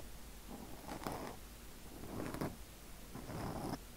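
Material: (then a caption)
Foam. Fingertips gently scratch and rub a black foam windscreen on a microphone, making three soft, muffled bursts of scratchy rustling over a steady low rumble. Each pass swells and fades, with faint high hiss at the peaks.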